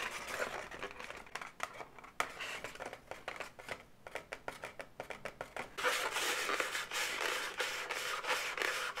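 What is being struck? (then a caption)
Inflated latex balloon animal. Long natural nails scratch, tap and rub the inflated segments of a medium-size pink twisted latex balloon dog, hollow and air-filled. Quick, irregular taps and dry scratches give way after about six seconds to a louder, denser, bright squeaky rubbing on the taut latex.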